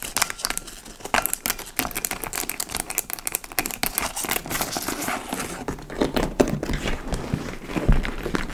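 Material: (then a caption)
Leather. Long nails scratch and tap the side panel and flap of a large, hollow, dark-brown leather tote bag (likely faux leather). The result is a steady stream of dry, crinkling scratches punctuated by sharp, short taps, with bright rasping texture over soft low thumps from the hollow bag.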